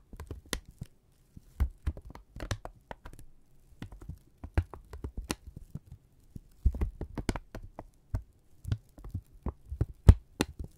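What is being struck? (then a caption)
Thin kraft paper strip. A single flat strip of thin brown kraft paper, held in both hands, is bunched, pulled taut and crinkled with the fingertips and thumbs. It gives a quiet run of sharp, short crackles and snaps with bright edges, in irregular bursts over a steady low hum.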